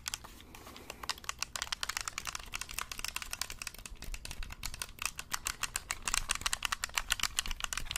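A black hollow plastic gamepad held in both hands close to the mic, its buttons and shell rapidly pressed and tapped by fingertips. A fast, uneven stream of short, bright plastic clicks and taps that stop almost instantly, over a faint low background hum.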